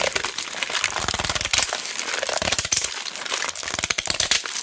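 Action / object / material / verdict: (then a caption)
scrape / tape roll in cellophane wrap / cellophane / none. Fingertips and long black nails squeeze and scratch the clear cellophane wrapping on a large roll of mounting tape held in both hands. Dense, bright crinkling and crackling pops go on without a break, with almost no low end.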